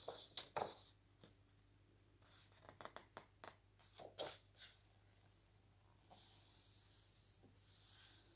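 Fingertips and a palm smooth and slowly turn the glossy paper pages of a large, thick hardcover lookbook lying open on a table, making about ten soft papery swishes and crisp rustles, with a quiet steady low hum underneath. Near the end comes a longer, brighter hiss of paper sliding.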